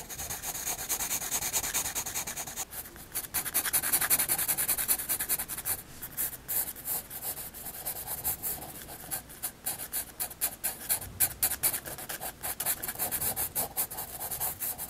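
A graphite pencil shades across a white paper sketchbook page with dense rubbing and scratching strokes. The sound is a bright, hissy scrape that comes in quick, uneven bursts of back-and-forth shading, with short pauses between them.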